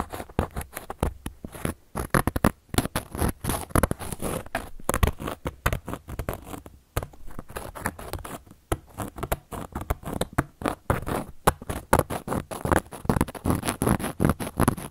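The tip of a handheld carving tool scratches and carves into a round, flat, solid cork coaster. The result is a steady run of quick, dry, crackling scratches and short scraping strokes with no ring. The strokes have a soft, muffled, low-heavy body, broken by brief pauses.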